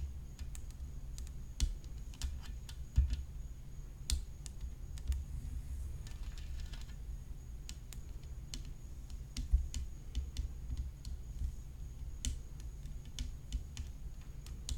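Long nails tap along the edge of a hollow graphite composite tennis racket frame decorated with rhinestones, near the strings. Quick, light, clicky taps with very short decay come in an irregular stream over a steady low hum and a faint high whine.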